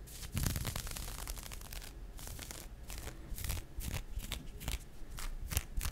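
A pink nylon fishnet arm warmer worn on the forearm, its thin open net fabric over skin, is scratched and rubbed by the fingertips and nails of the other hand. The result is a run of quick, dry scratching and rasping strokes with bright, crisp edges over a soft low rumble.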